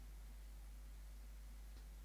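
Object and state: Nothing is struck.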